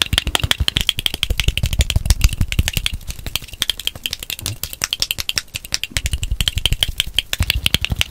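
Fingertips and nails rapidly tap and scratch the white and dark plastic screw cap and glass body of a small bottle of greenish-yellow contents held close to the mic. The result is a dense run of short, dry clicks with a deep low thump under each tap and a bright, crisp tick around 3 kHz, with no ring after each hit.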